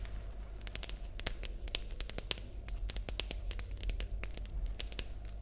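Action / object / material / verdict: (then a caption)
tap / plastic pencil case / plastic / none. A hollow, light green rectangular plastic pencil case with a printed logo is held in both hands and tapped and scratched with long nails. Quick, sharp, bright clicks and scratchy crackles come in an irregular stream over a steady low hum.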